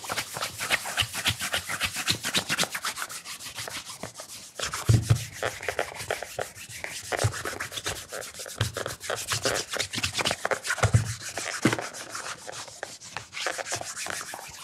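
Fingertips wrapped in a cotton cloth rub the upper of a black polished leather loafer that has a wooden shoe tree inside and sits hollow on a table. Quick, steady back-and-forth strokes make a bright, dry swishing, with a few low, hollow thumps as the shoe shifts on the table.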